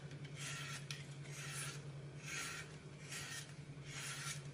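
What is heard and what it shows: A red-handled knife cuts and scrapes chunks off a hand-sized, solid green floral foam brick with a glitter picture on top, held in one hand over a glass bowl. Repeated bright, raspy scraping bursts sound at a slow, uneven pace over a steady low hum.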